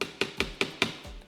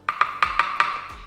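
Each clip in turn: First: soft plastic polisher tank, muffled knock. Second: hard acrylic polisher tank, sharp loud knock.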